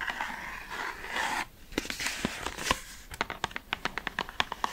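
Long red nails scratch a hollow pale pink cardboard cosmetic product box held in the hands, giving a dry, continuous crinkly scraping. This is followed by a run of quick, sharp, hollow taps with little ring.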